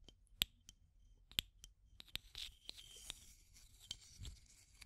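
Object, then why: Small clear plastic tube with aluminium screw lid. Long nails tap and scratch the rim of the aluminum screw lid and the body of a small clear plastic tube container. Quiet, sharp, bright clicks ring briefly near 3.3 kHz, with soft scratchy rustling between the taps.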